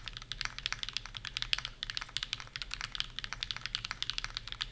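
Both hands type fast on the plastic keycaps of a Bear65 v2 65% mechanical keyboard with PureBerry on an aluminum plate. A rapid, steady stream of about 36 short, crisp clacks follows, bright and clicky with little low end and almost no ring after each keystroke.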